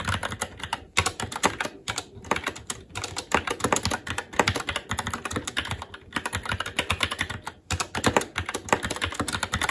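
Continuous fast typing with the fingertips of both hands on a SteelSeries Apex 7 TKL mechanical keyboard, which has plastic keycaps on a metal top plate and Red linear switches. The keystrokes are a dense stream of short, bright plastic clacks that die away almost instantly. The stream pauses briefly around 1, 6 and 7.6 seconds.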